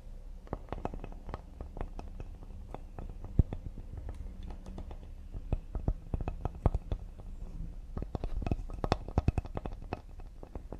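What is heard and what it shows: Fingertips and nails tap quickly across the face and edge of a solid cedar serving board held upright. The result is a steady stream of short, dry, low-pitched wooden taps with sharp clicky attacks and almost no ring, with a few louder knocks scattered through.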